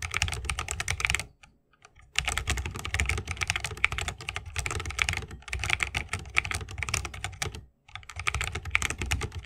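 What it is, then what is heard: Mechanical keyboard in bamboo case. A 60% mechanical keyboard with plastic keycaps and Holy Panda tactile switches in a bamboo wooden case is typed on continuously with the fingertips of both hands. Rapid, bright, dry clicks and clacks layer over a low thock from each keypress, with a short pause in typing near the 1.5-second mark and another brief break near 7.7 seconds.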